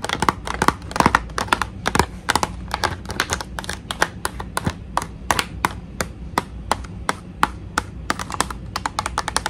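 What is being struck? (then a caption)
Clear plastic blister pack on cardboard. Long nails tap quickly and irregularly on the clear plastic shell of a hollow blister pack on a cardboard card, which holds a pink toy tea set. The taps are short, sharp, dry clicks with a hollow plastic tone, dozens of them over a faint low background hum.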